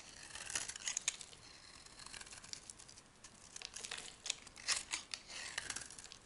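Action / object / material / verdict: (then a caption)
scrape / bar of soap scraped with a metal blade / soap / none. A hand-sized, solid white oval soap bar held in the hand is carved and scraped with a metal knife blade, curling off dry soap shavings. The sound is a quiet, dry, crackly scraping and crinkling, almost entirely high and bright with no low end. Irregular short crisp bursts rise and fall over a soft rasping bed.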